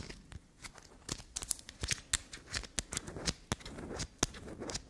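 Long black nails scratch and tap across the ridges of a solid black soap block held upright. Quick, dry, irregular clicks and scrapes with bright, crackly edges follow one another closely, with softer rasping scratches in between.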